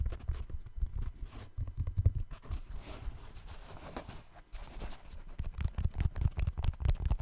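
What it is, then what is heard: Synthetic mesh running shoe. Fingertips tap and scratch the synthetic mesh upper of a hollow, empty black trail running shoe held close to the mic. A quick run of dull, low, muffled thumps mixes with soft scratchy rustling, quieter scratching through the middle, and then brisk tapping again.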